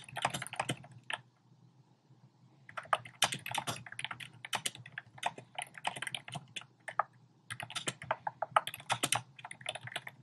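Fingertips type rapidly on a compact black plastic typewriter-style keyboard with round plastic keycaps. The result is bursts of crisp, bright clicking taps, with a pause of about a second and a half near the start before the typing resumes. A faint low hum sits beneath it throughout.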